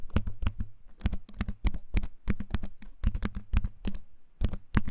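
A compact keyboard with a wooden frame and plastic keys is held up close and typed on with the fingertips. Its clicky keycaps give a rapid, uneven run of short, sharp taps with a low, hollow body and bright edges that die away almost instantly.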